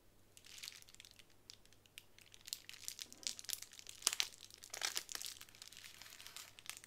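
A small square of clear plastic bubble wrap is lifted off a wooden table and handled, with fingers crinkling and scratching it. The result is a quiet, bright, irregular run of crisp crackles and rustles. A few sharper crinkle bursts stand out near the middle.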